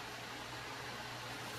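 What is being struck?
Nothing is struck.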